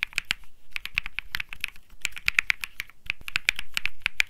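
A cream mechanical keyboard with plastic keycaps is typed on continuously with fingertips. The key presses make rapid, clicky, bright clacks that stop almost instantly. About 27 distinct presses come in uneven bursts.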